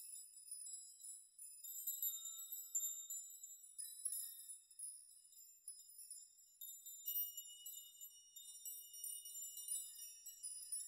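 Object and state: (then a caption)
Metal nail chime. A metal nail chime of thin hanging metal rods is grabbed, swept and shaken by hand so the rods clink together. The result is a quiet, continuous, irregular shimmer of bright, high tinkling tones with short rings and no low end.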